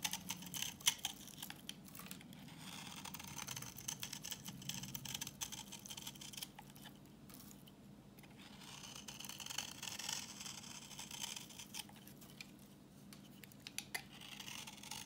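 A utility knife blade scrapes a solid, translucent orange bar of dry vintage soap held in the hand, producing crumbly yellow shavings. The clip is a quiet, steady run of dry, crisp scratching and crackling, mostly bright and high, with short sharper clicks scattered throughout. It eases slightly in the middle before picking up again.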